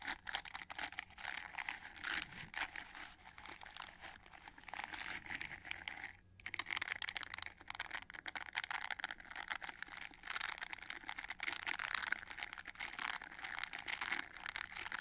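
Long nails scratch and strum across the dense red rubber or plastic bristle pad of a gold-rimmed hair brush. The result is a steady, bright, crinkly rasp of many fast, dry ticks with almost no low end, broken by a brief pause just after six seconds.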